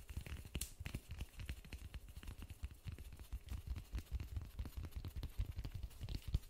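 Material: Polystyrene foam.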